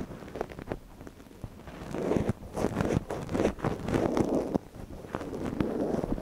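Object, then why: Silicone ear model on a binaural microphone, scratched with a wooden ear pick. A gloved hand scratches inside the ear canal of a soft white silicone ear model on a binaural microphone with a thin wooden ear pick. Close, dry rustling and crackling scrapes sit mostly in the low-mid range, with quick clicks over a muffled rumble. The scratching grows louder and denser after the first two seconds.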